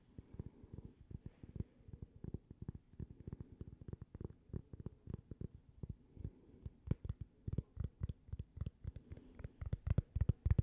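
A thin, flat, toast-shaped cork coaster with a logo, solid and held in both hands, is tapped with long painted fingernails. The result is a quiet, rapid, uneven stream of soft, dull, low thuds with almost no ring, growing slightly stronger toward the end.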